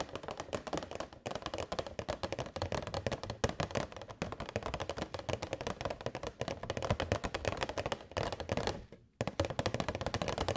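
A transparent, hollow, rectangular plastic box holding a string of purple LED fairy lights is held in both hands and tapped with long white nails. The result is a fast, continuous flurry of short, dry clicks and taps with a hollow low body and little ring, broken by a brief pause near the nine-second mark.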